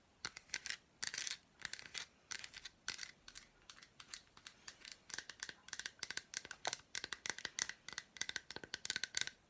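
An unwrapped solid milk chocolate bar with red fruit bits, held in the hand, is tapped and scratched with long black nails. It makes quick clusters of dry, bright clicks and scratchy bursts with almost no low end and no ringing between them.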